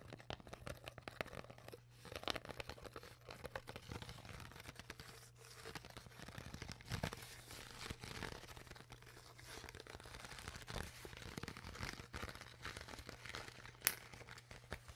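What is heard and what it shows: An empty, crinkled clear PET plastic bottle with its cap on is squeezed by fingers while long nails scratch and tap its sides. Dense, quiet crinkling and crackling runs throughout, broken by sharp clicky taps, with louder bursts around 2, 7 and 14 seconds. A faint low steady hum sits underneath.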